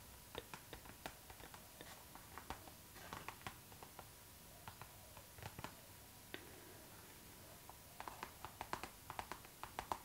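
Long nails tap and scratch on a clear pink PVC zipper pouch, a transparent pink vinyl bag lying flat. Quiet, crisp plastic clicks come in irregular bursts with soft scratchy rustles between them, growing denser toward the end. Each tap dies away almost instantly over a faint steady tone near 900 Hz.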